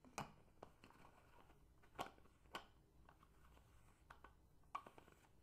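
A tall, empty, hollow clear plastic bottle with a silver metal cap is held, then stood upright and tapped and scratched on its sides with long painted fingernails. Sharp, brief clicking taps stand out, separated by quieter scratching and rustling.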